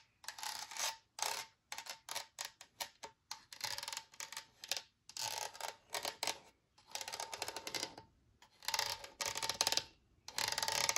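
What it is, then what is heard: Empty plastic spray bottle. Long nails tap the side of a large, translucent white plastic spray bottle that is hollow and empty and held in the hand. Rapid bursts of bright, crisp clicking taps come in clusters separated by short pauses, with a faint hollow tone ringing through and almost no low end. Each tap dies away almost instantly.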